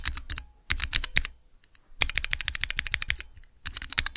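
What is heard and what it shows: Fingertips with long nails rapidly type on the transparent plastic keycaps of a small multi-key Cherry MX mechanical switch tester. Four quick bursts of sharp, bright plastic clacks, each with a low thump, are separated by short pauses. Each tap stops dead, with no ring.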